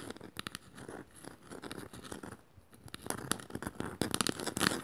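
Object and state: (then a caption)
Woven bamboo bowl, empty. Long matte nails scratch and tap the woven surface of a small, shallow, hollow, empty woven bamboo bowl. Dry, crackly rasps mix with quick, bright taps that die away instantly. A brief quiet stretch comes midway, then the scratching and tapping turn louder and busier toward the end.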